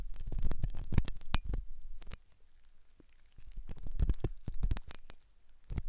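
A metal dental pick scrapes inside the hollow canal of a white, soft silicone ear on a binaural microphone. It makes close, irregular scratching and clicking bursts with a heavy low rumble and brief bright ticks. The scraping quiets through the middle of the clip, then picks up again.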